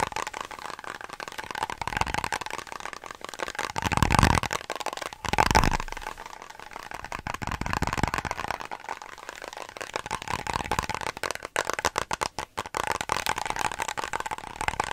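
A small, round, closed clear plastic container or jar with a green label is held in both hands and rapidly tapped and scratched with long nails, its contents unclear. Quick, dense clicks and crackly scrapes run throughout, with a steady mid-range tone and two louder, fuller bursts around four and five and a half seconds. The rustling, scratchy texture continues unevenly to the end.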